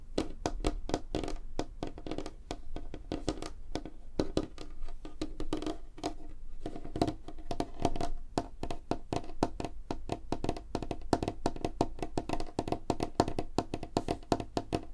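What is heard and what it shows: A light, solid wooden tabletop is tapped rapidly with the nail tips of both hands' arched fingers. Dense, steady streams of short, dry clicks patter across the surface, each dying away almost instantly, with a woody tone near 700 Hz over a soft low thump.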